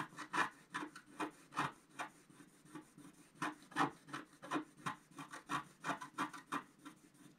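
A wooden stylus scratches the lower area of a flat scratch art sheet, a paper card with a black coating, in about 21 short, quick strokes at an uneven pace. Each stroke is a dry, raspy scrape with a mid-range body around 285 Hz and little ring, fading quickly between strokes.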